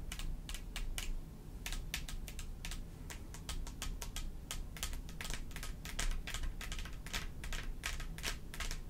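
Long pointed acrylic nails on both hands tap and scratch across a rhinestone-studded mat: a flat black backing densely covered with small clear faceted plastic gems, lying solid and flat on a table. Rapid, crisp clicking taps with bright, short, dry attacks run continuously over scratchy friction, above a steady low hum.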